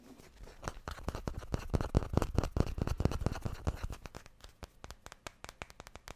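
Fingertips and nails scratch and rub small solid wooden cubes, making a fast, uneven run of short, dry scraping clicks. The strokes are dense and louder through the first four seconds, then thin out into sparser, sharper ticks. Each sound is dull and low-weighted and stops at once with no ring.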